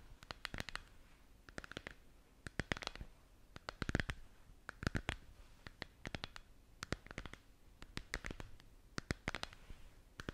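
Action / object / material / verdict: tap / hollow plastic lamp globe / plastic / none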